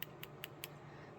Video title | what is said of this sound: GOODWILL BLUEBOX NJ MYSTERY JEWELRY UNBOXING American Eagle, sterling silver, summer boho & brooches | These are wood. This is painted wood. I mean, it sounds like wood.